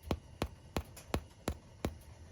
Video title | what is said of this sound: A Delicious Mess: Simple Yeast Bread | if it sounds hollow on the inside it's done if you don't hear it hollow let it go a couple more minutes